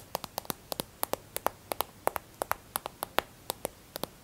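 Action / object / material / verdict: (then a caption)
tap / plastic hand cream tube / plastic / none. Long red nails tap quickly on a filled white plastic squeeze tube of hand and nail cream held in the hand. There are 24 short, dry clicks, often in quick pairs, each with a bright, hollow plastic tone and almost no ring, over a faint background hiss.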